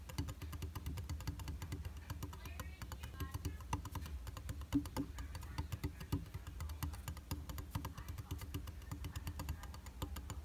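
Fingertips and short nails tap rapidly on the solid flat glass of a round tabletop makeup mirror with a white plastic frame. The taps form a fast, steady ticking rhythm of light, dry clicks that stop almost instantly, heard over a low, soft rumble.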